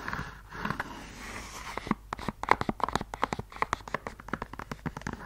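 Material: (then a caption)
Suede. Long yellow nails scratch softly across the suede of an empty red suede stiletto pump, then tap and scratch along the suede and the sole edge. The soft brushing gives way to a quick run of short, dry clicks with a mid-range knock around 1 kHz. Each click dies almost instantly.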